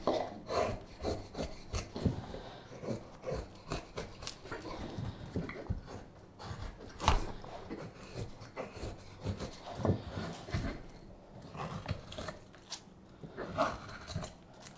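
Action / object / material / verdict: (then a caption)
scrape / wooden spoon blank shaved with a steel knife / wood / none. A solid light wood spoon blank is shaved with a straight steel carving knife in a series of cutting strokes. Each stroke makes a short, dry scraping rasp with a low, woody body, coming at an uneven pace with brief pauses in between.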